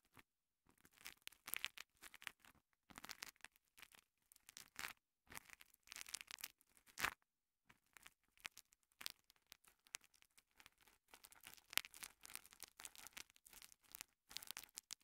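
A small two-layer green and yellow foam kitchen sponge, soft and porous, is held by the fingertips and rubbed and pressed against a microphone capsule. Close, bright scratchy crackles and rustles come in uneven bursts separated by brief silences, with almost no low end.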